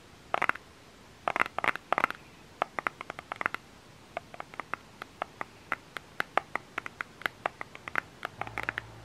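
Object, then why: Small plastic lotion bottle. Fingernails scratch and tap close-up on the labeled body of a small plastic lotion bottle. Short bursts of scratching open the clip, followed by a steady run of dry, sharp ticks with no ring, centered around 1.3 kHz with a bright edge. A faint low hum rises near the end.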